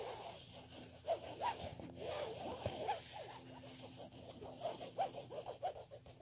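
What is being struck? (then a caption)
Woven fabric clutch bag. Fingernails scratch across the black woven fabric surface of a black clutch handbag in close-up. The result is a quiet, irregular series of soft, raspy scratching strokes with brief mid-pitched chirps, over a faint low steady hum.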